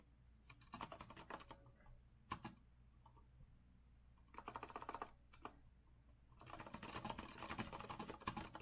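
Fast fingertip typing with both hands on a rose-gold retro Azio mechanical keyboard with a metal frame and round plastic keycaps, resting on a wooden desk. Quick bright clicky clacks come in bursts separated by short quiet pauses, each keystroke dying out almost instantly. A steady low hum sits underneath, and the typing ends in a long, dense run.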